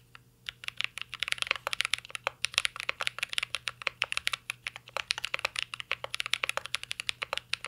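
Fingertips of both hands type steadily on a full-size CYBERBOARD R3 mechanical keyboard with an aluminum case, plastic keycaps and Holy Panda switches. The result is a rapid, continuous run of crisp, bright clacks centered around 2.5 kHz, each dying away almost instantly.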